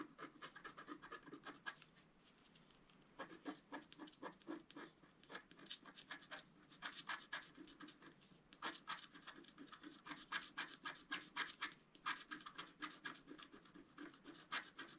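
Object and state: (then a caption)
Scratch-art paper scraped with a stylus. A wooden stylus scratches the coating off a flat, wax-coated scratch-art paper sheet in small strokes. It makes a quick run of dry, bright scratches, about four per second, with a brief pause near the start. The scratches are crisp and short, with a papery midrange around 1.6 kHz and almost no low end.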